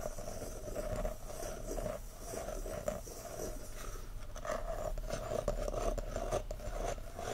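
Short nails of both hands scratch and tap on the top and rim of a round, solid wooden lid sitting on a frosted glass candle jar full of wax. A steady, dry scratching runs throughout with soft, quick taps mixed in, carrying a faint hollow tone near 580 Hz over a low rumble. The taps stop almost immediately with little ring.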